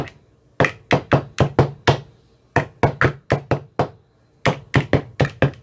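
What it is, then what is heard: Plastic ice cube tray. An empty, translucent, frosted plastic ice cube tray with 15 hollow compartments is tapped inside its cells with a thin metal rod that has a white rounded tip. Eighteen short, hollow knocks come in three quick runs separated by brief pauses, each pairing a low thump with a bright click that dies away almost at once.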